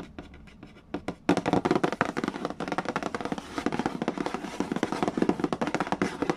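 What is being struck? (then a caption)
Cardboard game box lid. A fingertip traces the printed text on a hollow cardboard Mastermind board game box with a soft, faint scratching. Then the fingers break into fast, hollow tapping on the glossy lid. The dry, quick taps have a low-mid body and almost no ring.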